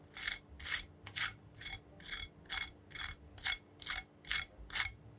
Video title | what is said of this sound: Does Boiling Wings Before Baking Make Them Extra Crispy??? | got a nice level of crispiness to this